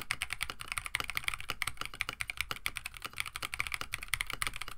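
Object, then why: Mechanical keyboard with plastic keycaps. A compact 65% KBD67 Lite mechanical keyboard, with a plastic case, FR4 plate, Oolong switches and PBT plastic keycaps, sits on a desk mat while both hands type continuously with their fingertips. The result is a rapid, steady stream of short, crisp clacks that die away almost instantly, bright in tone and centred around 2 kHz, with a soft low thud under each press.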